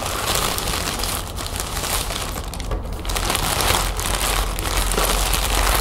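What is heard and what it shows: A thin lime-green plastic shopping bag printed "crazy 8" is crinkled, crumpled and smoothed flat with fingers and long nails. Dense, steady crackling and rustling runs throughout, with a bright hiss over a low rumble. The level stays fairly even with small dips.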